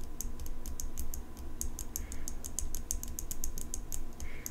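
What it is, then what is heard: Steel folding knife tapped with fingernails. Long pink nails tap and scratch the steel blade of an open folding pocket knife with an engraved metal handle. Quick, bright, clicky taps come in an uneven, rapid stream over a low steady hum. Two short, soft scraping swishes appear near the middle and near the end.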